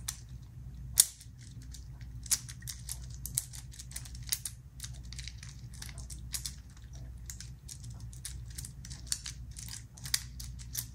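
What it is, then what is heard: Metal infinity cube fidget toy. A small black metal infinity cube made of hinged solid blocks is repeatedly folded and flipped with the fingertips of both hands. Its segments click against each other in a rapid, irregular stream of short, bright clicks, with one sharper snap near the start. A steady low hum sits underneath throughout.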